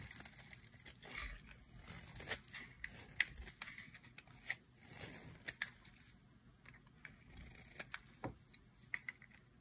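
A solid turquoise bar of dry soap, held in the hand, is carved into strips with a utility knife blade. Quiet, bright scraping and crinkly tearing is heard, with many short, sharp cracks and clicks that stop almost at once.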